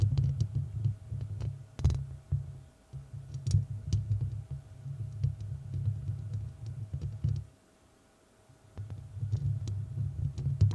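Long red nails of both hands scratch and tap the rounded, hollow metal mesh grille of a large studio microphone. The result is a dense, low rumbling scrape studded with sharp, bright clicks. It breaks off into near silence for about a second before the scratching resumes.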